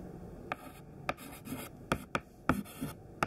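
A thin white chalk stick held in the fingertips writes words in a list on a black chalkboard. Quiet, scratchy strokes are broken by six sharp, bright taps as the chalk strikes the board.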